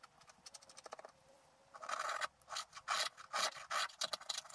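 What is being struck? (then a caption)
Scratch art paper scraped with a wooden stylus. A wooden stylus rubs and scratches the black coating off a flat sheet of scratch art paper. Quick, light scratchy ticks come first, then longer, louder rasping strokes with a dry, bright texture as the coating is scraped away.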